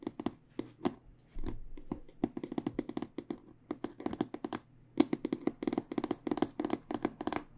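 An aluminum-framed, black hard microphone case with aluminum edges is tapped with fingertips and long nails. Dozens of short, dry taps with almost no ring come in an irregular, rapid rhythm, mixing hollow mid-low knocks with sharper clicky nail ticks, plus a brief rubbing, scraping stretch early on.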